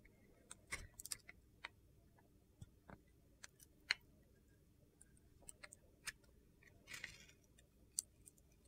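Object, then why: Bar of soap carved with a metal blade. A metal box-cutter blade carves curled shavings off a solid, glitter-coated red and yellow soap bar with star sequins, held in the hand. About eleven sharp, crisp, high-pitched scraping clicks stand apart over a quiet background, each dying away almost instantly.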